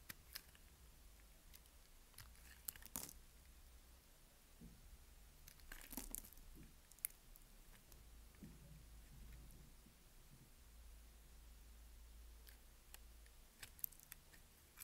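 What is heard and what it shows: A solid white bar of soap held in the hand has thin layers scraped off with a utility knife blade. Quiet, dry crunchy scrapes and crackles come in scattered bursts, with sharper bright clicks standing out over a low steady background hum.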